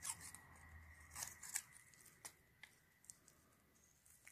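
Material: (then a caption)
Soap. A metal blade scrapes long shavings off the face and edges of a pale green solid bar of soap held in gloved hands. Short, crisp, bright scraping and shaving strokes come at an irregular pace, loudest early on and softer later, over a faint steady hiss and a thin high tone.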